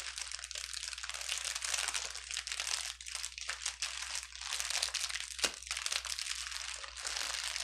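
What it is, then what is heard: Plastic bubble wrap being crinkled. A clear plastic bubble wrap sheet lying on a table is pinched and pressed with the fingertips of both hands. The result is a continuous bright, crisp crinkling with scattered sharp pops, one louder snap standing out near the end.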